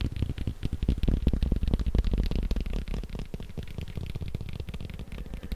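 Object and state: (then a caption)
Leather belt tapped. A leather belt is tapped quickly with rapid, slightly uneven strikes, producing dull, low, muffled thuds with very short decay and little high-end sound. The tapping is louder for the first couple of seconds, then continues at a softer, steadier level.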